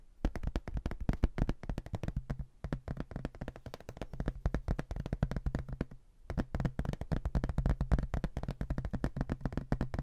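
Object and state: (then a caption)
Hardboard placemat. A thin, rigid, flat rectangular hardboard placemat, likely cork-backed and printed with a photo of an Irish house, is held in both hands and tapped and scratched with fingertips and nails. A rapid, steady stream of short, dull, low knocks fills the clip, each dying away almost instantly, with brief lulls around two and a half and six seconds.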